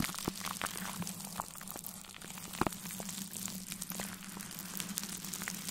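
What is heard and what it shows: A large soft makeup brush, held in a gloved hand, is brushed over plastic cling film wrapped around a metal mesh microphone grille. The result is a continuous soft, crinkly rustle full of small bright crackles and ticks over a steady low hum. One sharper crackle stands out just past the midpoint.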